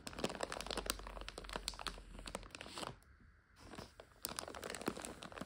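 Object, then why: Plastic bag of dry noodles. Hands squeeze and crinkle a full plastic bag of dry egg noodles while long nails scratch across it. Dense, bright crinkling and crunching with sharp clicks runs continuously, dips briefly to near quiet just past the midpoint, then picks up again.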